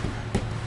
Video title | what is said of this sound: Veneer Test - Phoenix FloorWorx Inc. | I can hear some hollow pockets underneath here, under all of them.